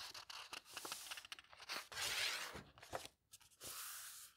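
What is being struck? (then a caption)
Old paper book pages. An open vintage botanical book with thin old paper pages, turned slowly by fingertips and smoothed down. Soft, bright papery rustles and swishes come in a string of short crinkles. Two longer sweeping page turns stand out, one near the middle and one at the end.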